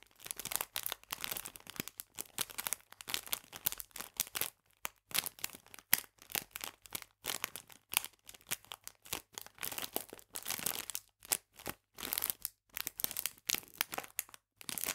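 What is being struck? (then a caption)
Clear plastic bag of biscuits. A clear plastic bag full of biscuits is rubbed and squeezed by fingertips, producing continuous bright, crisp crinkling in dense bursts with brief pauses. The sound is quiet and almost entirely high-pitched, with very little low end.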